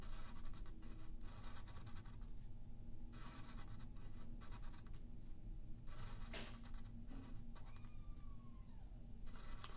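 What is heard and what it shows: A yellow wooden pencil draws lines across a thin white sheet of printer paper lying flat on a wooden table, while the other hand holds the sheet in place. Soft, dry graphite scratching comes in bursts of strokes with a bright, papery hiss, over a steady low hum. The sound stays quiet throughout.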